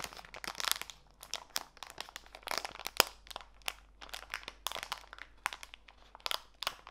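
A small clear plastic bag full of walnut pieces is turned over and squeezed in both hands. Bright, dry plastic crinkles mix with crisp crunches of the nuts in quick irregular bursts, with a sharp crack near the middle and almost no low end.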